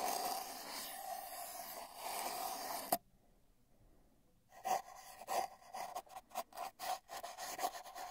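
A paintbrush's bristles brush and rub along the surface of a long, hollow, spiral-wound cardboard tube that has a microphone inside. A steady, hollow rasping with a resonant mid-pitched ring runs for about three seconds and ends in a sharp scrape. After a short near-silence, a quick series of separate brushing strokes follows.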